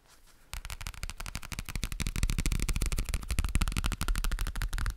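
Fingertips tap quickly on the dark navy card cover of a thin, flat, A5-size booklet with white paper pages, held in one hand. After a brief quiet start, a steady stream of soft, low, dull taps with very short decay continues to the end and grows slightly louder.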